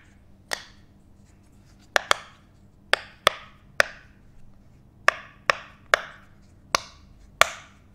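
A teal, hand-sized, butterfly-shaped silicone pop it fidget toy with hollow bubbles is held in the hands and tapped and pressed with fingertips and nails. Twelve sharp, dry, woodblock-like pops sound at irregular intervals, each a bright snap with a very short tail over a quiet background.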